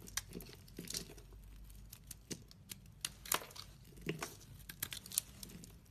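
A hand-sized, solid orange oval bar of soap with an embossed logo is scraped into shavings with a black utility blade. It makes a quiet, irregular series of short, crisp scraping and crackling strokes that are bright and dry, with little low end. Each stroke dies away almost instantly.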